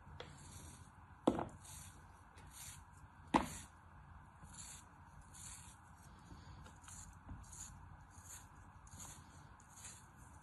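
A hand-sized, solid star molded from kinetic sand is held flat in one palm and repeatedly sliced and scraped with a thin black knife held in the other hand, with pieces breaking off into the sand bin below. Soft, bright, gritty scraping hisses recur at a loose, steady pace over a low background rumble. Two sharper cutting clicks stand out early on.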